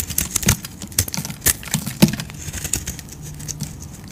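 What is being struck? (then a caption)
Soap bar shaved with a knife blade. A utility knife blade scrapes and shaves chunks off a solid light-blue bar of soap with a dotted painted coating, held in the hand. A quick run of dry, crumbly scraping ticks and crinkles mixes bright, hissy highs with soft low thuds, with sharper cuts standing out near the middle.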